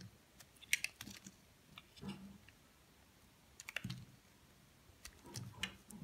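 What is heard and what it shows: A metal blade carves and scrapes flakes from the top of a solid white soap bar held in the hand. Quiet, crisp, bright clicking scrapes come in short clusters with brief pauses between them, each backed by a soft low thud, and they die away almost instantly.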